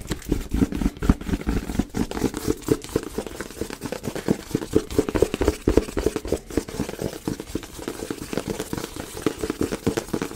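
A hand-sized, printed black cardboard retail box for a Yeti microphone, apparently with the microphone still inside, is held in one hand and tapped with the fingertips and nails of the other. The result is a steady run of quick, irregular taps, dull and hollow in the low-mid range, each dying away almost at once.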